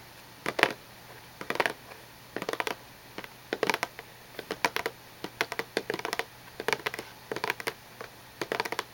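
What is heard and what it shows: Long painted nails tap and scratch the sides and edges of a small, hollow, cube-shaped cardboard tissue box with a glossy gold-printed surface and tissues inside, using both hands. Quick bursts of dry, bright clicks and short scratches come in clusters with brief quiet gaps, each tap dying away almost instantly. A faint, steady, high tone sits underneath throughout.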